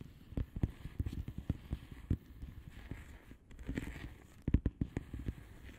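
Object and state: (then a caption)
Plastic bubble wrap envelope. Long polished nails on both hands rapidly tap and scratch the bubbles of a flat blue plastic bubble wrap envelope. Quick, soft, dull taps come in an uneven patter, with brief scratchy rustling in between and a tight cluster of sharper taps near the end. Each tap is low and muffled and dies away almost at once.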